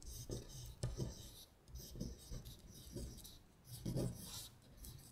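Long acrylic nails trace and scratch along the printed lyrics on a thin paper sheet lying flat. The result is a series of dry, raspy scratching strokes with a bright, high hiss and soft low taps, swelling and fading as the nails move across the words.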